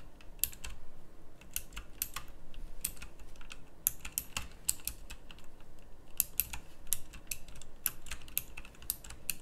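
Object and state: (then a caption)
Mechanical keyboard with round plastic keycaps. Slow fingertip typing on a full-size backlit pink mechanical keyboard with round plastic typewriter-style keycaps. Sharp, bright, clicky keystrokes arrive in an uneven, steady run, each dying away almost instantly over a low, rumbling background.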